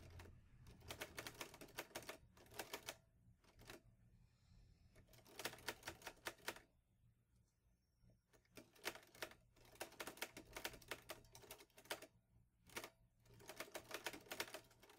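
Fingertips type on the keys of a green metal Olivetti Lettera 22 manual portable typewriter. Bursts of rapid, bright, crisp key clacks alternate with short pauses, over a faint low steady hum.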